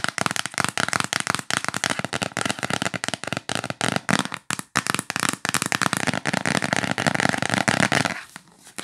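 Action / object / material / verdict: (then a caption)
tap / cardboard gift box lid / cardboard / none. Long nails tap rapidly along the top edge and surface of a yellow L'Occitane cardboard gift box lid. The result is a dense stream of short, dry, bright clicks with little ring. The tapping stops just after eight seconds, fading to near silence.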